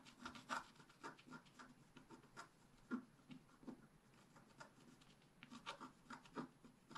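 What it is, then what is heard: Scratch-art paper being scratched. A wooden stick scratches the mane area of a black-coated scratch-art paper page held flat by hand. Quiet, dry scratching and rasping strokes come in a rapid, uneven series, with short brighter bursts standing out over a soft papery hiss.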